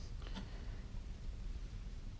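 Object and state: Nothing is struck.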